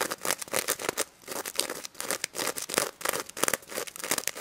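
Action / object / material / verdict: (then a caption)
scrape / plush toy with plastic sequins / plastic sequins / none. Long red nails scratch and flip the plastic sequins on the face of a pink stuffed pig toy, working around its mesh snout. Dense, crisp crinkling and scraping clicks come in quick irregular bursts with a bright, high sheen. There are brief quieter gaps between the bursts.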